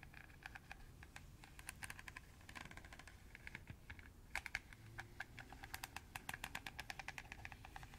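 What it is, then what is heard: Plastic colander tapped and scratched with nails. Long nails and fingertips scratch and tap along the slotted surface of a round, hollow, empty green plastic colander with radial slots, close to the microphone. The result is a quiet, rapid stream of dry, bright clicks and short scratches with very little ring. A low, steady rumble sits underneath throughout.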